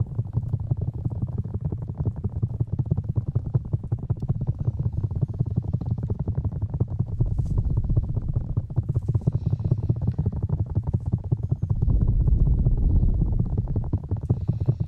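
Fingertips of both hands rub and tap the black rubber ears of a 3Dio binaural microphone. The result is a dense, fast, irregular stream of muffled low thumps and rubbing rumble, with almost nothing bright in it. It swells into heavier, fuller stretches around 7–8 seconds and 12–13.5 seconds.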